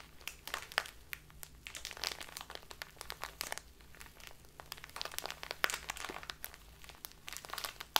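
A full plastic bag of dark loose tea is crumpled and crinkled by fingertips and long nails. Dense, bright crackling bursts come in a rapid, uneven stream with sharp snaps, fading almost instantly against a quiet background.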